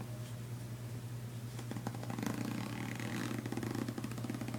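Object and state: Nylon fabric suitcase.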